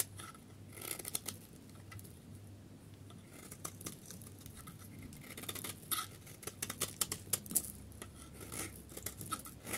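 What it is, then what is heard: Dry soap bar being shaved. A solid yellow dry soap bar is held in the hand while a utility knife blade shaves its face into flakes. The result is a run of crisp, bright scraping and clicking strokes over a low steady hum. Sharper snaps come toward the end.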